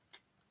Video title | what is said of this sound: Willing Snackrifice - Episode 39 | they're glass they're glass that sounds plastic